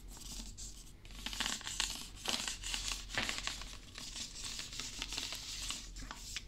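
A blue plastic Prime drink bottle of about 500 ml, hollow and apparently filled, is held in one hand and scratched with fingernails along its ridged plastic and label, close to the mic. The result is a steady, bright, crackly scratching with a papery, tearing-like texture. Quick raspy bursts rise and fall throughout, with little low end.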